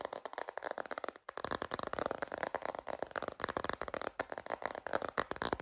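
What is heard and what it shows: A sparkly plastic glitter phone case, held horizontally, is tapped and scratched with long green nails. The result is a steady run of rapid, light, dry clicking taps mixed with scratchy crackle, with almost no low end and a brief pause just after the first second.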